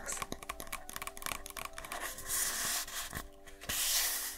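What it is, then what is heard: Stack of paper party cups. Long manicured nails scratch and tap the rims and sides of a stack of several nested, empty paper birthday cups with a colorful "Feliz Cumpleaños" print, held in both hands. The sound is a dense, bright, papery scratching dotted with quick, light taps. Two stretches of steadier, hissy rubbing swell louder near the middle and at the end.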